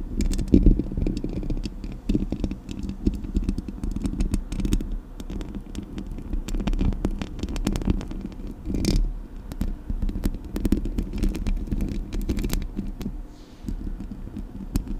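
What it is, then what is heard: Metal microphone grille being scratched. Long nails scratch the hollow metal mesh grille of a Blue Yeti microphone. The result is a continuous, low-heavy rasping scrape full of rapid, dense crackling ticks, with occasional brief bright clicks over a steady rumble.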